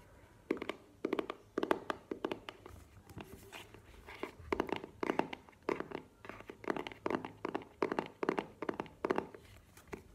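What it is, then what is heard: Small cardboard box. Long nails tap and scratch the sides of a small, hollow black cardboard earbuds box held up in both hands. Quick bursts of dry, hollow taps with almost no ring come in steady clusters, mostly in the midrange. Softer scratching fills the gaps between them.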